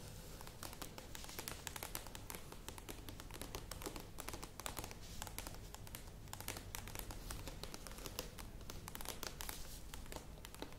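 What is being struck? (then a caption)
Plastic yogurt tub with lid. Long nails tap and scratch the sides and rim of a medium plastic yogurt tub with a lid. The result is a steady stream of quick, bright clicks and crinkly scratching over a low, constant hum, staying at an even, quiet level throughout.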